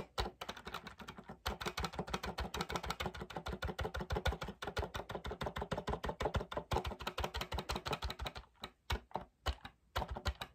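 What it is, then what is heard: Plastic MIDI keyboard keys. Fingertips rapidly tap and press the hollow keys of a small black plastic MIDI controller keyboard. The result is a fast, uneven stream of short, dull plastic clicks with a low thump under each one. The clicks run almost continuously, then break into a few scattered taps with brief gaps near the end.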